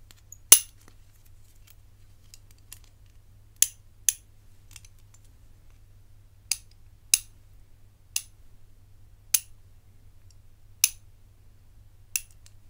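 A rigid black enamel and gold metal hinged bangle, held between both hands, is tapped and handled with the fingertips and nails while its hinge clicks. Nine sharp, bright clicks and taps ring out at irregular intervals with almost no ring, over a faint steady low hum.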